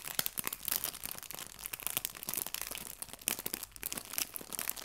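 A small, clear, thin plastic bag full of fake fabric leaves is squeezed and crinkled by the fingertips of both hands. The result is a continuous stream of dense, bright, crisp crackles and rustles with short sharp snaps and almost no low end.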